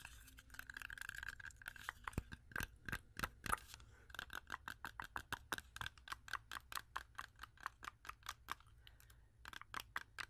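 Long acrylic nails tap and scratch a solid, whole fresh red-yellow apple with a sticker on it. Dozens of quick, dry clicks mix with a soft scratching hiss around 1.3 kHz, each tap dying away almost at once. The tapping runs fast and steady, with a few brief pauses and some louder taps in between.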